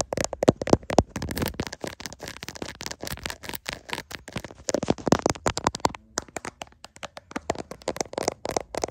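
Fingertips and nails scratch and tap on the back of a clear plastic case around the camera lenses of a hand-sized smartphone that is also recording the sound. Many quick, dry clicks and scrapes come in a fast, irregular stream, close and crackly with almost no ring.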